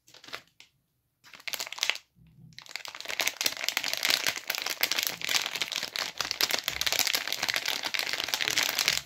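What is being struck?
Plastic film wrapper on a bar of soap.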